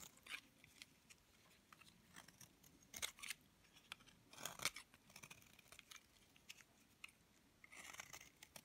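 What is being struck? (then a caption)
Bar of soap cut with a metal knife. A hand-held, palm-sized, solid grey-green bar of hard, dry soap is cut and scraped with a metal knife blade, shedding crumbly flakes onto a wooden board. The sound is quiet, dry and bright: crisp scratchy scrapes and short crunchy snaps with almost no low end. The loudest crunches come around 3 and 4.6 seconds, and a longer rasping scrape closes the clip.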